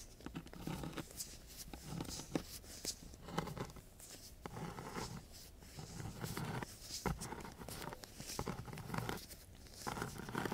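A thin wooden craft stick is rubbed and scratched across a coarse, gritty sheet of sandpaper lying flat. Quiet, dry, rasping strokes come in quick uneven bursts, with bright gritty noise and a low rumble underneath. There is no ringing between strokes.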